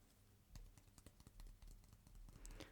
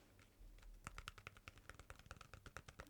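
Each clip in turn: First: wooden stick, identified as wood. Second: plastic tub.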